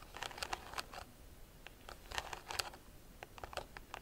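Long nails scratch across the weave of a hollow, round woven rattan bag. The result is a quiet series of crisp, bright, dry ticks and scratches in quick bursts, each dying away almost instantly.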